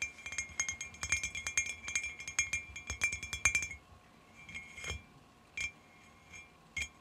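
Long fingernails tap on the side of a clear glass cylinder jar lying on its side on carpet, hollow with dried flowers inside. A rapid run of bright, high clinks with a short glassy ring near 2.4 kHz lasts for about four seconds, then thins to a few scattered taps separated by quiet pauses.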